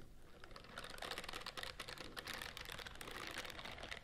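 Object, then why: Silicone bristle scrubbing glove. Long nails scratch and rub the bristle rows of a white silicone scrubbing glove held close to the microphones. The result is a dense, rapid stream of crisp, bright ticking and crackling, much like fast typing, with a steady level and very short, dry clicks.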